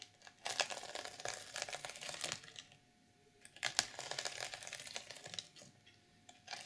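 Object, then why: Sequin-covered fabric journal cover. Long purple nails scratch and flip the black and silver plastic sequins of a reversible sequin fabric cover on a small, flat notebook with a solid book underneath. The result is bright, dense crinkling and rustling in two long bursts separated by a quiet pause, followed by a brief flick at the end.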